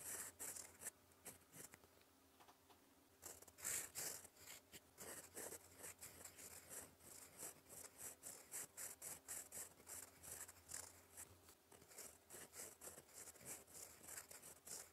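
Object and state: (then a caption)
Fountain pen writing on paper. A gold fountain pen nib writes in black ink on a flat sheet of lined cream paper, scratching across it in cursive strokes. Quick, irregular bright scratches and short strokes come in bursts, with a low steady hum underneath during the first part.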